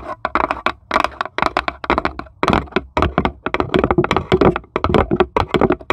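Long pointed acrylic nails on both hands tap rapidly across the flat base of a small, light plywood serving tray with cut-out handles, empty and hollow underneath, while a small marble sits still in its corner. The taps come in quick, uneven bursts of dry, clicky cracks with a hollow wooden knock, each dying away almost at once.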